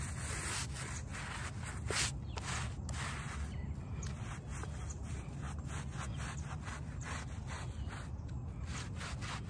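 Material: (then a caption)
Fabric. A small, very muddy shag-pile fabric doormat, wet and soapy, is scrubbed with a plastic hand brush held in one hand while the other hand presses flat on the pile. The result is a steady, dense rubbing scrub with a deep, low-heavy wash of sound, overlaid by a faint bright bristle hiss as the strokes repeat.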